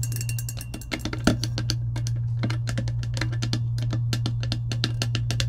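Long acrylic nails tap and scratch a clear plastic slider lid sitting on top of an empty insulated metal tumbler. The result is a rapid stream of sharp, bright clicks with short scratchy strokes, all over a steady low hum.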